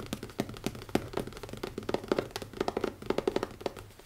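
Fingertips tap quickly on the closed cover of a black leather-covered hardcover notebook with an elastic band. About two dozen short, dull knocks land in an uneven, rapid run, each with a soft midrange thud around 380 Hz and a faint bright tick that dies away almost instantly.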